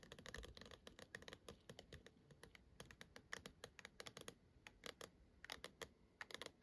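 Long acrylic nails on both hands tap and scratch the surface of a lit-up hollow plastic star projector dome sitting on a black base. Rapid, crisp, clicky taps fall in quick irregular bursts, each dying away almost instantly, with faint scratching between them. The result is a bright, dry patter with little low-end weight.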